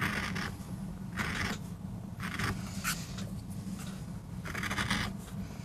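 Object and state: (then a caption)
MDF board being carved. A wooden-handled steel gouge carves grooves into a small, flat, solid MDF board inked dark with a rose design, held flat on a rubber mat and braced by a hand with short nails. Short, bright scratchy scraping strokes come in repeated bursts over a steady low hum.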